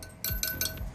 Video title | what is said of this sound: How to restore a motorcycle | If it's loose, it'll sound pretty dead. Like, I think that one sounds kind of loose.